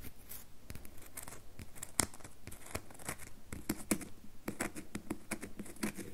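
Long nails tap and scratch the faces of a solid rectangular red bar soap held in the palm. The result is a quiet, irregular run of short, dry clicks and scraping strokes with bright, crisp edges and no ring after each tap.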